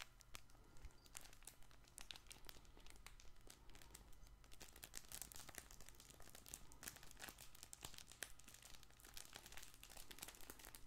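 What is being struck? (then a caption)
Stuffed fabric ball toy with crinkle lining. A colorful stuffed fabric plush baby ball toy is held in both hands and squeezed and scratched with fingertips and nails. Steady, quiet crinkling carries dense, irregular bright scratchy clicks over a constant low hum.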